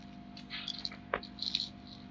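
A fried chicken garelu, a lentil-and-chicken fritter, is broken apart, giving off a short run of bright, dry crackles and snaps. The crackling shows the fritter is crispy, thanks to the Bombay rava (semolina) added to its batter.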